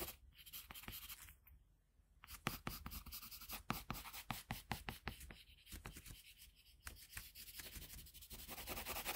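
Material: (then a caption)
Paper. A colored pencil held in a metal extender scratches across a flat sheet of drawing paper on a table as it draws and shades an outline. Soft, dry scratchy strokes fade to near silence around two seconds, then return as a quick run of sharp, bright pencil strokes. The clip ends in denser, continuous shading.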